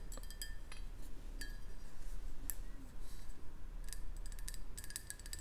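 A hollow black ceramic Marauder's Map mug is held in both hands close to the mic and tapped with long painted nails. Scattered bright, clicky taps with a short glassy ring sit over a steady low hum.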